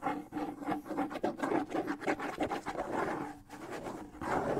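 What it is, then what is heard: Wooden bongo drum scratched. Fingers rub and scratch across the shell and skin head of a hollow wooden bongo drum held up off any surface. The result is a steady stream of dry, rasping scrapes and soft brushing strokes with a faint woody tone around the low midrange and almost no ring.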